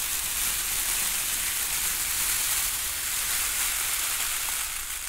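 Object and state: Crinkle-cut paper shred filler.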